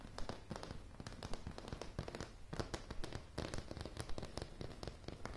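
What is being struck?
Wooden plank floor.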